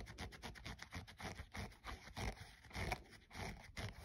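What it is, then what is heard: Sneaker synthetic upper and rubber sole scratched. A thumbnail scratches the printed synthetic side panel and the edge of the foam/rubber midsole of a hollow, empty grey running shoe. A rapid, uneven series of short, dry scratching strokes is heard, raspy and bright with a soft low rumble beneath and no ringing after each stroke.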